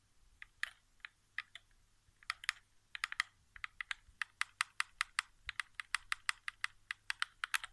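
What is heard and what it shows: A single fingertip taps the thumbsticks and center of a hollow white plastic PS4 game controller resting on carpet. About 35 quick, separate taps speed up from a scattered start into a steady rhythm. Each is a dry, bright plastic click centered near 2 kHz, with no low-end thump and almost no ring.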